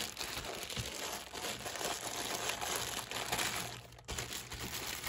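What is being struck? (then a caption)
Stack of plastic cups in plastic film wrap. A hand grips and crinkles the loose plastic film sleeve wrapped around a stack of clear plastic cups. A steady, bright crinkling rustle fills the clip, briefly fades just before the four-second mark, then resumes at full level.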